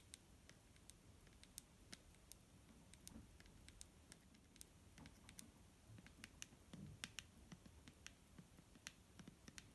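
Fingernails tap a clear plastic micellar water bottle filled with liquid, near the cap and along the body. The result is a quiet, irregular series of short, bright, clicky taps that stop dead with no ring, over a soft low rumble.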